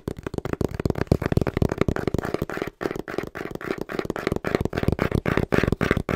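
A small, hollow brown cardboard box is held upright in both hands and tapped quickly and rhythmically with the fingertips. The result is a steady stream of dull, hollow knocks with a low, boxy resonance and very short decay.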